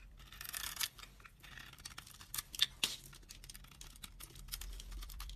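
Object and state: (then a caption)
Dry bar soap being cut. A utility knife blade cuts and scrapes chunks and flakes off a dry, solid white bar soap with a red coating, mostly peeled to its white core and held in hand. Bright, dry scratching and crisp crunches dominate the clip, with a few sharper snaps standing out near the middle and short rasping strokes throughout.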